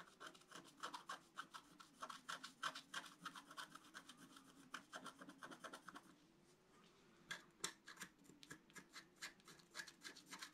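A wooden stylus held in the fingers scratches lines into a flat, black-coated scratch-art card, about A4, lying on a table while the other hand steadies the sheet. Quick, dry, bright scraping strokes come in an uneven rhythm of roughly three per second. They pause briefly around the middle, then resume.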